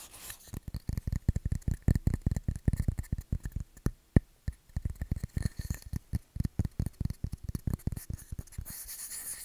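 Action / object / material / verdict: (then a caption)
tap / bamboo wood coaster / wood / none. A round, flat, solid light-wood bamboo coaster held in the hand is tapped and scratched with fingernails on its face and edge. A rapid, uneven run of short, dry, low knocks with brief scratchy rubs between them fills the clip, each tap dying out almost instantly. Near the end the tapping thins out into a soft, steady scratching hiss.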